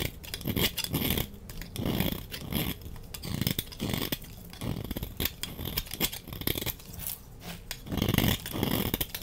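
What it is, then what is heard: Bar of soap being shaved with a blade. A utility knife blade scrapes curls from the bottom edge of a solid, dry, red-orange rectangular soap bar held in the hand. Repeated short scraping strokes make dull low thuds with a bright, crackly rasp, with brief quieter gaps between them.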